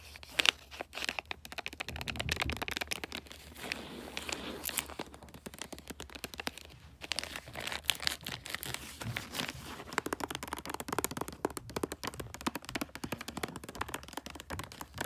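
A rectangular gift box wrapped in light blue, bulldog-print glossy paper is patted by a hand, while fingernails tap and scratch its top. The result is a dense run of short, bright crinkling taps and scratchy rustles, mostly high in pitch, with faint low hum underneath.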